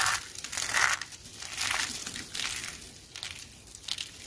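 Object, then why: Soap flakes. Hands with long nails grab, squeeze and crush handfuls of thin, dry purple and teal soap shards and curls dusted with starch, rubbing them between fingers and palms. The result is a dry, bright, crunchy crackling that swells in repeated uneven bursts, with almost no low end.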